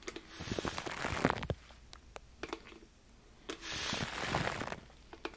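Fingertips rub and crinkle aluminum foil wrapped around a microphone, giving close, broadband crackling and rustling. Two sustained bursts of crinkling, one early and one after a quieter pause, are broken up by sharp crisp pops and ticks.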